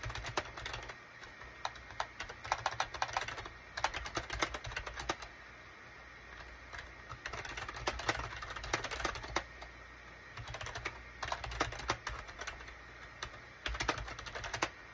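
Fingertips type on a full-size gray and cream SHIPADOO K600 wired USB keyboard with a hollow plastic case, resting on a desk mat. Bursts of quick, dry, bright plastic clicks and clacks stop almost instantly, with brief pauses between flurries, most noticeably around the middle of the clip.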